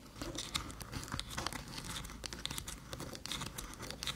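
Long metallic nails scratch along the edges and ports of a small, flat, hollow aluminium USB-C hub resting on a dark table. The result is a steady, dense rasping and crinkling texture with bright, high scrapes and quick ticks that die away almost instantly.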